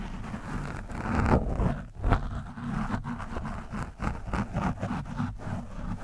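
A hand-held screwdriver tip is dug into and scratched across an orange foam microphone windscreen. It makes close, muffled scraping and rustling, heavy in the low end, with irregular bursts that swell louder in the middle before settling into steady scratching.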